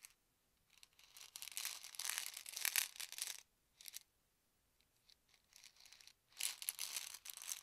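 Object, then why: Plastic pill bottle with tablets. A white plastic medicine bottle with a yellow cap, hollow and holding tablets, is held in both hands, tilted and shaken so the tablets rattle, while fingertips tap the cap. Several bursts of bright, dry rattling and clicking are separated by short silences, with almost no low end.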